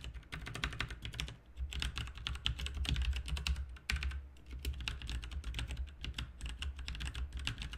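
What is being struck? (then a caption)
Plastic mechanical keyboard. Both hands type with their fingertips on a backlit RGB mechanical keyboard with plastic keycaps, making a rapid, dense stream of short, bright key clicks. Each click carries a low thud underneath, and the typing pauses briefly around the one-, four-, and six-second marks before resuming.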